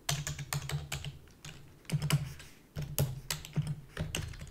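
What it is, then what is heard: Plastic computer keyboard. Rapid typing with long fingernails and fingertips on a full-size black plastic keyboard with a hollow body. Quick bursts of sharp, bright clicks ride over a hollow low thump from the keys, each tap dying away almost instantly, with brief pauses between flurries.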